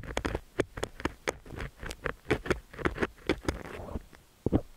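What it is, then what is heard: Silicone ear microphone scraped with a metal pick. A thin stainless steel ear pick scratches inside the ear canal of a cream silicone dummy-ear microphone while the ear is held steady by hand. Close, crackly scraping and tapping sounds come in quick, uneven bursts with a low rumbling body and brief bright clicks, each dying away almost at once.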